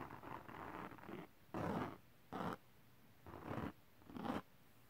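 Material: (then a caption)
Glitter paper. Fingertips scratch the surface of a flat holographic glitter cardstock sheet, and one hand moves close to the camera at the end. A longer stretch of dry, rasping scratching is followed by four separate short scratching bursts with quiet gaps between them.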